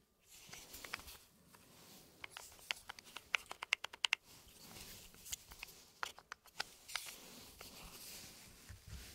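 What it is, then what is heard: Wooden cube puzzle with loose balls. A small, hand-sized assembled wooden cube puzzle, with a grid of round holes on top and loose wooden balls inside, is held by fingertips in fingerless gloves and turned and tilted in both hands. The pieces and balls shift and knock inside, making a run of sharp, dry, bright clicks and taps with quick decay. These come in dense bursts over a soft, rustling handling noise.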